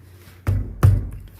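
A rubber car tire is tapped twice as a quick inflation check, giving two dull, low thuds with a short, deep ring. The tires sound about the same, indicating they are properly inflated.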